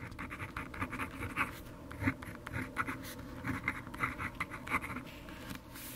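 A pen held in the fingertips writes on a flat, thin page of an open lined paper notebook resting on a desk. The pen tip gives a steady, soft scratching with quick strokes and brief bright accents, over a faint low background.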